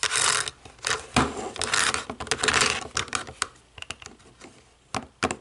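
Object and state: Plastic TV remote, tapped and scratched.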